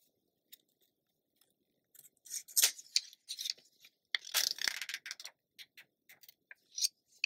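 Long nails tap and rub along the page edge of an open glossy paper magazine, then a hand turns the page. Quiet, scattered bright clicks build into crisp, papery scraping and rustling bursts that are almost entirely high-pitched with no low end, followed by short taps and rubs.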